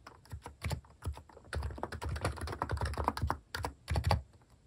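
Fast fingertip typing on a compact plastic mechanical keyboard with cat keycaps produces a steady patter of short, dull clicks and thocks. The keystrokes carry a deep body with little high-end sparkle. They come in quick bursts with brief pauses between them.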